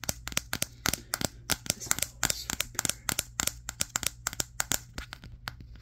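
Fingertips tap quickly on the matte glass back of a Samsung Galaxy S23, the recording phone itself, held in both hands in front of a mirror. Around thirty sharp, bright clicks come in a rapid, uneven run, each dying away almost instantly over a faint low hum.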